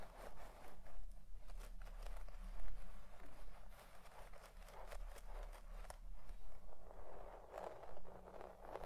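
A white plastic pick comb with long tines is raked and scratched through a deep-pile red shag carpet of synthetic fibres while the other hand rests flat on the carpet. Soft, brushy scratching strokes come in quiet repeated bursts over a steady low hum.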